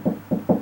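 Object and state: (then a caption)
Hollow drywall between studs. Knuckle knocks on closet drywall to find a stud land on a hollow spot with no stud behind it. Three dull, low-pitched knocks ring briefly around 200 Hz with little high end, confirming the wall is hollow between studs.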